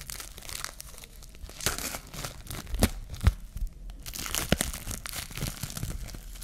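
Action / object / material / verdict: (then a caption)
scrape / plastic cling film roll / plastic film / none. A clear plastic cling film roll held in the hand has a loose sheet peeled and pulled off it by long nails. The film crinkles and tears in a run of irregular crackles, with sharp bright snaps standing out over a low rustle.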